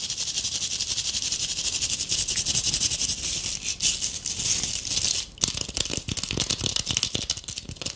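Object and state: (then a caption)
Tinsel-covered ornament ball. A palm-sized ornament ball covered in gold metallic tinsel and glitter is held in the hands while long acrylic nails scratch quickly across its surface. The result is a dense, bright, hissing crackle that rustles continuously. Near the midpoint it briefly drops out, then resumes as sharper, choppier scratches.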